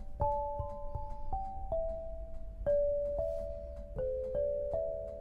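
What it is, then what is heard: Granite lithophone. An 8-bar lithophone of solid black granite slabs tuned to 432 Hz, resting on a low frame, is struck with two soft-headed mallets with red and green balls on wooden sticks to play a slow melody. Each tap gives a clear, bell-like tone around the mid range that rings briefly and overlaps the next, with a soft thud at each strike.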